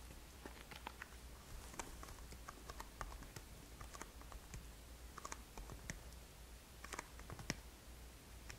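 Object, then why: Small cardboard product box. Long nails tap and scratch the sides of a small black and green Boscia cardboard product box, apparently holding a product, held in the hands. Quick, dry clicking taps mix with soft scratches, each dying out almost instantly over a steady low hum at a quiet level.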